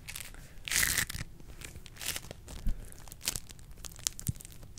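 A small handful of yellow floam, a soft, solid slime covered in polystyrene beads, is squeezed and pressed between long acrylic nails and fingertips held close to a microphone grille without touching it. Bright, crackly crunching and tearing bursts repeat irregularly over a low, soft squish, with the densest crunch coming early. Each crunch stops short with almost no ring.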